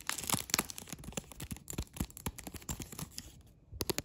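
Long red acrylic nail tips scratch and tap clear plastic cling film stretched over a flat tile. The result is a dense run of quick, crinkly, bright crackles and soft taps with almost no ring, and a brief quiet gap before a final burst.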